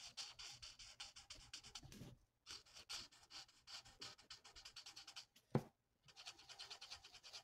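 A plastic alcohol marker's felt nib is rubbed in rapid back-and-forth strokes across a thin, flat sheet of printed paper on a table, colouring it in. The result is a quiet, bright, scratchy swishing in quick rhythmic bursts, broken by two short pauses and a single sharper tap just before the second pause.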